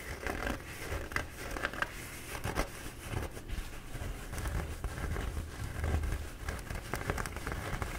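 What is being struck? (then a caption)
Paper towel roll. Short, dark-painted nails quickly scratch the embossed surface of a bee-printed paper towel roll held in both hands. The result is a steady stream of soft, dry, papery scratching and crinkling with brief brighter rasps and a low handling rumble underneath.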